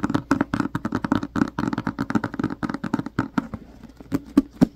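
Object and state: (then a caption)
Hardcover book tapped. Both hands tap and scratch the front cover of a medium-size, solid, black cloth-covered hardcover book with their fingertips and short nails. A quick, uneven run of short, dry taps with a dull low-mid body gives way to a softer scratchy stretch, then a few louder taps at the end.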